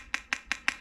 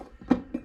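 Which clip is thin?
The second.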